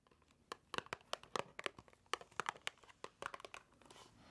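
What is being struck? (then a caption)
Small cardboard box. A small, hollow white cardboard box held in the hands is tapped and scratched with long nails. A quick, irregular series of dry, clicky taps with a hollow mid-range knock ring out briefly, with soft scratchy rustling between them. The sound builds to a faint scraping at the end, and there is almost no low end.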